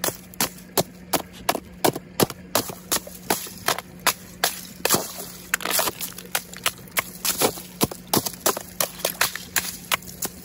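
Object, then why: Frozen ice sheet struck with a metal hammer. A flat, frosted sheet of ice with a crystal pattern, solid and brittle, is struck again and again with the metal head of a wooden-handled claw hammer. It gives a fast, uneven run of sharp, bright cracks that cut off almost instantly, with a denser, crunchy stretch in the middle and a faint steady low hum underneath. The sheet shatters into chunks.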